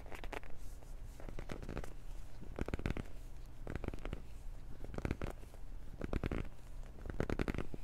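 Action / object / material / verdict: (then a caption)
scrape / small cardboard box / cardboard / none. A small, hollow black cardboard retail box with a hang tab is held in both hands, gripped and scratched with the nails. Short bursts of dry, papery crackling scratches come in repeated clusters over a steady low hum.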